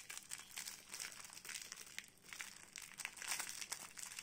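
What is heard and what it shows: Long painted nails and fingertips pick at, tear and crinkle a clear printed plastic film wrapped around a small solid blue soap bar held in both hands. A quiet, dense run of bright, crisp crackles and rustles continues throughout, with almost no low end.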